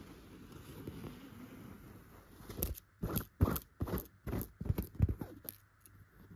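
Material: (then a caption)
Chenille fabric. Long pointed gold and clear nail extensions scratch a yellow chenille fabric pillow with dot tufts. A soft, low rustling gives way to a run of short, dry, scraping strokes in uneven bursts. Each stroke has a scratchy, crunchy texture and stops almost instantly.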